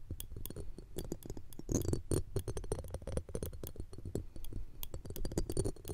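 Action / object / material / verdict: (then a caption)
scrape / steel wire-mesh microphone grille scraped and tapped with metal tweezers / steel / none. Thin metal tweezers scrape and tap the edge of a round steel wire-mesh grille on a pencil condenser microphone. The result is a dense run of quick, dry clicks and rasping scratches over a low, rumbling body, with faint bright ticks.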